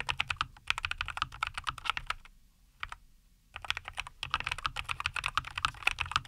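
Both hands type continuously with their fingertips on a compact 75% NuPhy Air75 V2 mechanical keyboard with a white case, green and white plastic keycaps and linear Cowberry switches, resting on a wooden desk. The keystrokes are quick, bright, clacky taps that decay almost instantly, with a brief lull partway through broken by a few isolated presses before the typing resumes at full pace.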